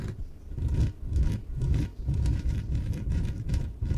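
Long nails scratch and rub the sides of a small yellow inflatable PVC exercise ball that is hollow and air-filled. Repeated rubbing strokes produce a deep, muffled, hollow rumble with faint bright scratchy edges.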